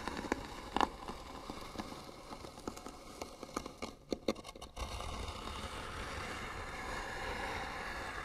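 Long nails scratch and tap the flat lid of a small, hollow, white-painted wooden box with beaded trim. Sharp, dry taps and scrapes crackle over a soft rasping bed, with brief ringing clicks in the first half. After about five seconds, the sound turns into a steadier, continuous scratching across the lid.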